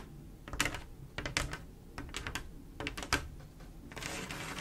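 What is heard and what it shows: Long black-and-pink acrylic nails tap quickly across a large, flat, solid glass mosaic tile picture covered in small silver mirror-like tiles laid in swirl patterns with grout lines. The taps are sharp, bright, clicky and irregular, with very little ring. The clip ends in a softer, steadier hiss.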